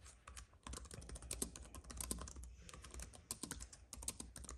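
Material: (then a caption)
Plastic. Fingertips of both hands type fast on a compact white keyboard with plastic keys on a thin aluminium base, resting on a fuzzy mat. A quick run of short, crisp clicks, bright at the top, sits over a low, steady rumble, with brief pauses between bursts.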